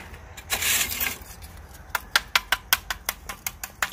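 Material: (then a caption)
Bamboo charcoal. Pieces of baked bamboo charcoal, cooked past fully done and baked rather than burned, are knocked together. After a short broad rustle, eleven sharp, bright clicks ring like metal or nails with almost no low end. The metallic ring shows the charcoal is hard and well made.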